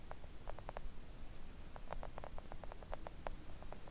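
Long acrylic nails tap a flat pink silicone nail art mat lying on a table. The result is a quick series of soft, short, muted clicks with a mid-range tone and almost no ring, heard over a steady low rumble.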